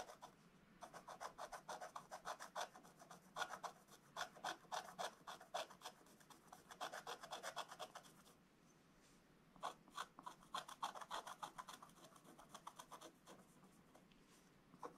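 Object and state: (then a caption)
Scratch-art coated paper page. A wooden stylus scratches a black-coated scratch-art book page with short, rapid strokes, making a dry, raspy scraping with a bright, papery edge. The strokes come in quick, uneven bursts, pause briefly around the middle, then resume at the same pace.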